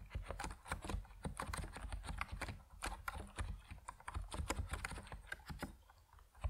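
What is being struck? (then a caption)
Mechanical keyboard with PBT plastic keycaps. Fingertips of both hands type on an Epomaker NiZ Plum Atom 68, a 68-key compact mechanical keyboard with white and purple PBT plastic keycaps, sitting on a wooden desk. A steady, fast stream of short, deep, muted clacks follows, with little high-end brightness and each keystroke dying away almost instantly.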